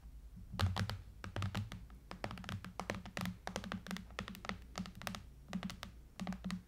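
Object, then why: Aluminium and glass tablet. Fingertips and long nails tap quickly and irregularly on the side edges and glass screen of a silver iPad tablet lying flat, which has an aluminum frame and a glass screen. The sound is a dense run of soft, dull thuds, each with a sharp, bright clicking edge and a short decay. The tapping comes in small clusters with brief pauses between them.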